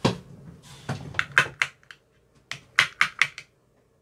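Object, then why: Plastic ice cube tray with silicone cups. An empty clear plastic ice cube tray with 15 cube cells and green silicone bottoms lies flat and is tapped inside the cells with a thin metal rod with a white tip. Eleven sharp, dry, bright clicks with a tone near 2 kHz come in uneven bursts, each dying away almost at once.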